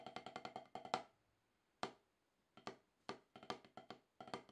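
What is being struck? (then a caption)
Rubber practice pad struck with wooden drumsticks. Wooden drumsticks tap alternately on a solid, octagonal HQ rubber-top snare practice pad, making about 21 short, dry clicks with a mid-range knock around 750 Hz and a bright edge. Quick bursts of strokes are broken by pauses and a few isolated single hits. Each tap dies away almost at once.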